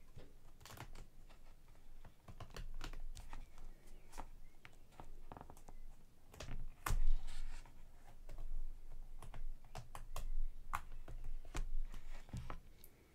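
Long nails on both hands tap quickly across the glossy laminated cardboard cover of a large hardcover cookbook lying flat on a table. The result is a rapid, uneven run of short, crisp clicks like typing on a keyboard, each with a soft low thump that dies almost instantly.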